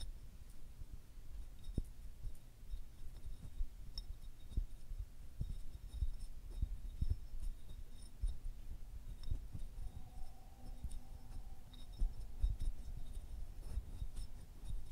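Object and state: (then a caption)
Selenite crystal stick. Fingernails scratch and tap along the ridges of a larger solid translucent selenite stick with a striated, fibrous surface, held in both hands close to the mic. The sound is quiet and dominated by soft, dull low thumps and a low rumble, with faint scratchy clicks scattered throughout.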